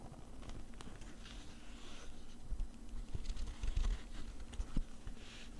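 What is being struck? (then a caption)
Nylon zippered case. The inner fabric of an opened black nylon zip case is scratched with a thin metal tool, then rubbed with fingertips. Soft, irregular scratching and patter sit over a steady low rumble, with faint bright hiss in brief bursts. A few louder scrapes stand out near the end before it settles back to quiet rubbing.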